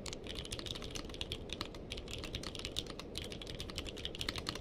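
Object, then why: Mechanical keyboard with plastic keycaps. Two-handed fingertip typing on a purple-cased mechanical keyboard with plastic keycaps. It produces a steady stream of bright, clicky key strikes with short decays over a constant low rumble.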